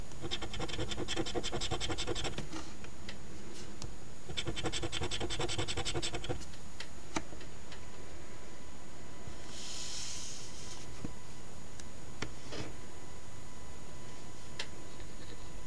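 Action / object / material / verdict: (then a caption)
scrape / paper scratch ticket with latex coating, scratched with a coin edge / paper / none. The edge of a coin held in the fingers scratches the latex coating off the last number circles of a thin, flat paper Ontario Lottery OLG $10 Wish List instant scratch ticket (#2450, #001). Two dense bursts of rapid, raspy scraping with bright, gritty texture are followed by scattered small ticks and a brief soft hiss as the ticket lies still.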